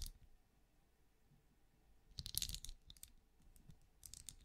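A small, hollow, ridged, translucent plastic-like night lamp glows while held first in a palm and then in the fingers, as long nails tap and click on its ridges. Quiet, sharp, bright clicks come in a dense cluster midway, with a few scattered taps before and after over a low background hush.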